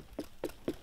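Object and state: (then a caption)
Ripe pumpkin, hollow knock. A large pumpkin in a garden is knocked three times, giving short, hollow, low-pitched thuds that die away quickly. The hollow sound marks it as ripe, though this one is soft-shelled and will be left in the sun to harden.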